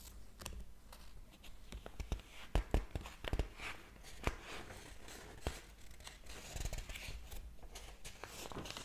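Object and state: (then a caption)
Paper book pages. A large, thick hardcover book lies open on a table while fingertips lift and flip its thin paper pages, the other hand holding the book open. The pages rustle and fall with soft papery crinkles and sharp flicks, punctuated by brief low thumps as each one settles.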